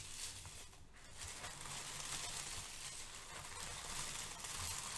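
Brown crinkle-cut kraft paper shred resting on a white foam sheet is pressed and scrunched by fingertips. A quiet, steady, bright crinkling and rustling continues throughout, with a brief dip in level near the start.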